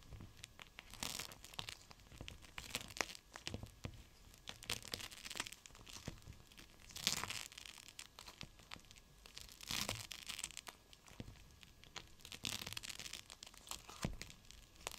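A clear plastic pouch of teal gel beads, a cold/hot pack, is bent and squeezed in the hand. It gives soft, bright crinkling and crackling in irregular bursts over a faint hiss, with a few louder crunches.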